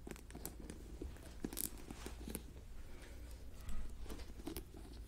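Long nails tap and scratch the top and rim of a white plastic lid on a clear plastic jar full of white granules, and twist the lid. Quick, dry, bright clicks and scratchy rasps sit over a steady low hum. The sharp taps die away almost at once.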